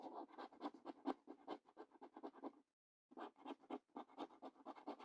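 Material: Cardboard.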